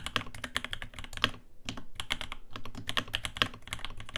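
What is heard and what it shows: A navy RAMA WORKS U80-A 80% mechanical keyboard in the Lake colour, with Alpaca switches, an aluminium case, a brass plate and dark ABS keycaps, rests on a desk mat while both hands type on it continuously with their fingertips. A steady stream of short, crisp key clacks has bright clicky tops around 3 kHz over a thocky low body, with a couple of brief pauses between bursts of typing.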